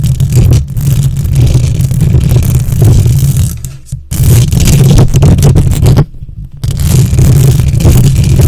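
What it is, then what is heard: Metal microphone grille being scratched. Long nails on both hands scratch and rub the hollow metal mesh grille of a silver condenser microphone. The result is a loud, dense, rumbling scrape that is heavy in the low end, with thin high hiss above it. The sound runs almost continuously, dips briefly near the four-second mark, and drops out for about half a second just after six seconds before resuming.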